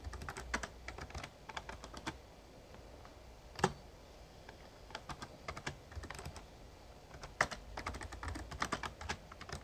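Fingertips type on the keys of a Razer Ornata Chroma, a full-size backlit plastic mecha-membrane gaming keyboard. Soft, quick clicks and taps come in bursts with brief lulls, and a few keystrokes land noticeably louder than the rest. Each press stops almost instantly, with no ring after it.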